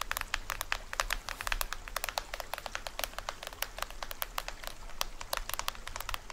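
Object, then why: Plastic film head of a small toy drum. Fingernails scratch and tap near the edge of the printed plastic head of a small, hollow toy drum. The result is a rapid, uneven stream of sharp, dry, bright clicks with a crackly scratching texture, each tap dying away almost instantly, over a faint, steady low hum.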